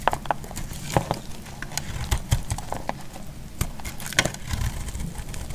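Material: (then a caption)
Soap. A solid orange bar soap, held in the hand, is cut and shaved into curls with a utility knife blade. Irregular crisp, dry cracks and scrapes ring out over a low rumble, with a few brighter, sharper snaps standing out, and each cut dies away almost at once.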